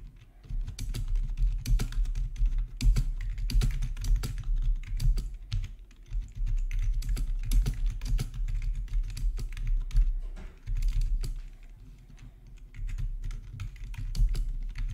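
Fingertips type on a full-size black plastic RGB backlit gaming keyboard with a hollow housing, resting on a marble surface. Rapid, steady key taps come in bursts, each with a deep, low, hollow thock and a short bright click. Brief pauses fall around 6 and 10.5 seconds, with a softer stretch after 11 seconds.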